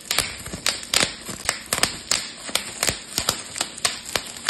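A clear plastic bubble wrap sheet is twisted between fingers and thumbs, popping its bubbles. Sixteen sharp, bright snaps ring out at uneven intervals over a faint crinkling crackle, each dying away almost instantly with very little low end.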